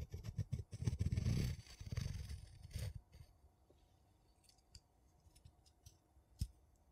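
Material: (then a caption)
Metal. A thin wooden tool scratches and taps the embossed top and edge of a gold metal screw lid on a small, empty glass jar. Quick, dense scraping and tapping with a low, dull body fill the first three seconds. The sound then thins to quiet, scattered light taps, with one sharper tap near the end.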